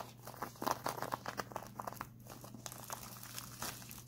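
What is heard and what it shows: A white printed plastic instant cold pack is held upright, then twisted in both hands and squeezed and scratched with the fingertips. It gives a dense run of sharp, bright crinkles and crackles over a faint steady low hum, with the loudest bursts near the start.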